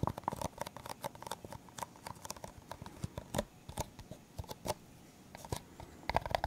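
A clear, hollow, empty disposable plastic cup is held sideways and tapped with the fingertips and nails. The result is a quick, irregular run of short, dry clicks and taps with a hollow plastic tone around 690 Hz. Each tap dies away almost at once, with a few louder, sharper nail strikes standing out.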